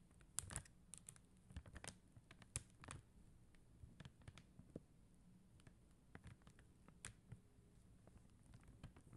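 Long teal acrylic nails tap on a flat sheet of clear and blue faceted plastic rhinestone stickers on white paper backing. The result is a quiet, irregular series of short, sharp clicks and light ticks with bright edges, each dying away almost instantly over a soft low rumble.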